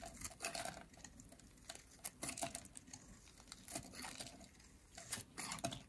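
A metal utility blade carves a yellow, solid, dry soap bar with a ridged edge into crumbly curls. Each stroke makes a quiet, dry, crackling scrape with bright, crisp texture. The bursts repeat in irregular clusters with short pauses between them.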